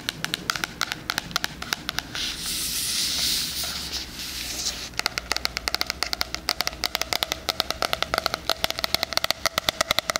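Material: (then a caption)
Cardboard. Fingernails tap and scratch the cover and edges of a floral, cardboard-covered 2020 spiral-bound hardcover planner. Quick, bright clicking taps give way around the two-second mark to a few seconds of steady, hissy scratching. Rapid, crisp tapping then resumes through to the end.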